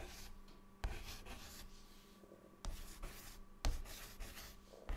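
A white chalk stick draws looping scribbles over existing writing on a large, flat, solid dark chalkboard, producing continuous dry, bright scratching. Sharp tapping clicks mark where the chalk strikes the board, over a steady low hum.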